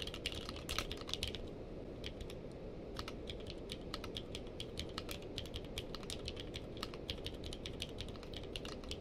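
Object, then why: Mechanical keyboard with plastic keycaps. Two hands type with their fingertips on a purple-case mechanical keyboard with plastic keycaps. Quick, bright clacking keystrokes patter steadily, with a short denser burst near the start. A constant low rumble sits underneath.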